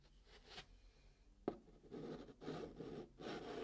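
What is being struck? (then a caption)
Chalk on a cardboard box top. A white chalk stick writes digits and draws a long curved line on the flat top of a brown cardboard box, giving soft, dry scratching strokes with a brief sharp tap near the middle. Longer, louder rasping scrapes follow as the chalk drags across the cardboard.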